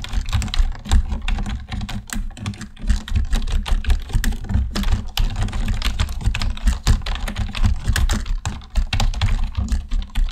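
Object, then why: Plastic computer keyboard. Continuous fingertip typing with both hands on a black plastic computer keyboard produces a dense, uneven stream of short key clicks and thuds. The clicks are dull and low-heavy, with brief bright ticks, and each stops almost at once with no ringing.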